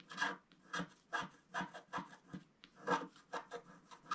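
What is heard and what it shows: A wooden stick scratches the black wax coating on the lower part of a flat, thin, solid scratch-art picture card lying on a table. About a dozen short, dry rasping strokes come at an uneven pace, each a brief scrape with a mid-range body and bright, airy edges.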